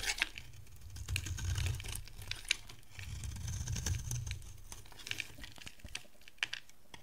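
A dry yellow bar of solid soap, held in the hand, is shaved and scraped with a metal utility-knife blade, leaving a grooved surface. Many short, crisp, bright scrapes and ticks crackle over a soft low rumble. The strokes stop dead with no ring.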